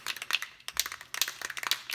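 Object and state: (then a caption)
Aerosol spray can with mixing ball rattling loose. A metal Rust-Oleum 2X aerosol can of acrylic enamel primer is shaken, its loose mixing ball rattling inside in about a dozen quick, sharp, bright clicks with almost no low end and no ring. The free rattle shows the ball is loose and the can is ready to be shaken for about a minute before spraying.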